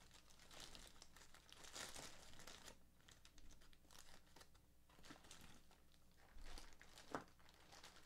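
A thin, clear plastic bag full of bottle caps is gripped by both hands, which twist and crumple the gathered plastic at its knotted neck. This produces a steady, soft crinkling with bursts of sharper crackle, the loudest just after the 7-second mark.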